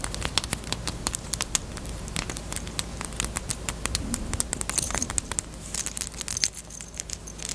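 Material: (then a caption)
Plastic. Long acrylic nails tap rapidly on a small, closed, hollow, pink hard plastic Peep bunny-shaped chapstick case. The taps are sharp, bright, dry clicks that stop almost instantly, some louder than others, over a faint low hum.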